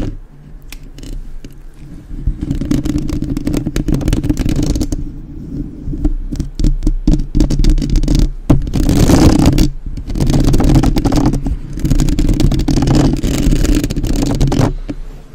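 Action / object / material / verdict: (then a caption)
tap / metal mesh microphone grille / metal mesh / none. Long nails rapidly tap and scratch the sides of a black, uncovered microphone's metal mesh grille. The result is dense, close, bass-heavy thumping and scraping in several sustained bursts separated by short quieter pauses, with a brighter rasp whenever the nails drag across the mesh.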